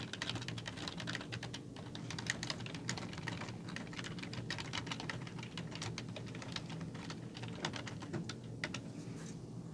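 Fingertips with long nails type steadily on a black plastic computer keyboard with hollow keys. Quick, bright, clicky taps patter continuously over a constant low hum. Each tap dies away almost instantly.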